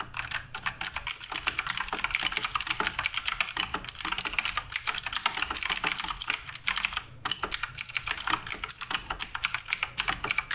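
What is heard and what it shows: Fingertips type continuously on the plastic keycaps of a black RGB Redragon K588 Broadsword mechanical keyboard. The result is a dense, steady stream of short, bright clacks with a brief pause around seven seconds.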